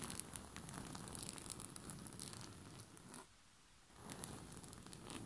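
Short fingernails scratch and rub a white rose-print cotton bed sheet stretched over a soft surface, with one hand held close. A dense, crackling, papery scratch with bright high-frequency grain runs almost continuously, pauses briefly around the three-second mark, then resumes.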